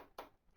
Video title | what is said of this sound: Gee's Gulch EA Workshop on Lecture 13 of Micheal Turvey's Lectures on Perception - Lost Tapes #2 | wood that is dull sounding because it's solid.